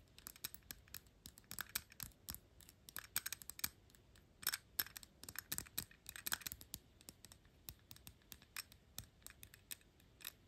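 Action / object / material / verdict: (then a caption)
tap / metal perfume bottle cap / metal / none. Long pink nails rapidly tap and scratch the gold-tone metal horsebit cap on a dark glass perfume bottle. The result is a quiet, dense run of sharp, bright clicks and scratchy ticks that die away almost instantly, with little low end.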